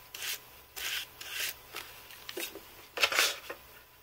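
A handheld carbon-fibre brush is swept across the key rows of a white Apple Magic Keyboard, with its thin aluminium body, plastic keys and hollow build. Six separate bright, hissing rub-and-scrape strokes are heard, each fading quickly, with no low end.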